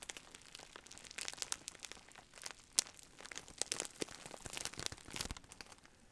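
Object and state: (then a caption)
Plastic bubble wrap bag. A large clear plastic bag of bubble wrap is held in both hands while fingertips squeeze, scratch and crinkle the plastic. The result is a quiet, continuous stream of bright, dry crinkling, with sharp crackles and snaps scattered throughout and almost no low end.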